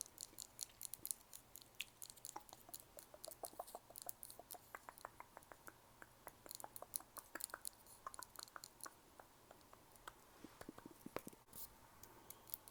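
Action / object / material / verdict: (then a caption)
tap / glass nail file / glass / none. Long nails tap rapidly on a crystal glass nail file, producing a dense run of sharp, bright clicks with almost no ring. Each tap is very short, with most of the energy in the high range and little low end. The clicks come in quick irregular bursts over a quiet background.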